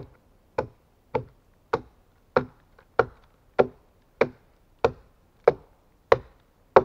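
A steel axe held in a gloved hand chops into the top and side of a large solid pine log. Eleven sharp, dry thuds land at a steady pace of roughly one every 0.6 seconds, each centered around 500 Hz with a bright crack at the onset. Every blow dies away almost at once.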